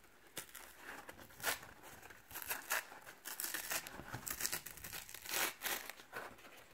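Fingertips and short nails pick at, peel and tear the paper layers of a thin, flat torn piece of brown corrugated cardboard box wall with its fluted inner layer exposed, held close, and scratch along the ridged flutes. Dry, bright tearing and crinkling rasps come in bursts of varying loudness, with little low end.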